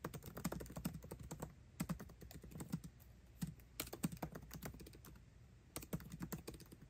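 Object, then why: Laptop keyboard with plastic keycaps in an aluminium body. Fingertips type fast on a MacBook Pro keyboard with plastic keycaps set in an aluminum body. Rapid bursts of short, dry key clicks land with a soft low thump, with brief pauses between runs and almost no ring after each stroke.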